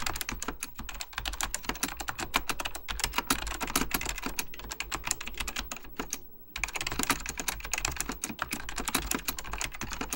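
Fingertips type rapidly on an Apple Extended Keyboard II, a plastic mechanical computer keyboard with beige plastic keycaps and a hollow plastic case. The dense stream of short, bright clicky taps sits over a low hum and briefly stops around the six-second mark before picking up again.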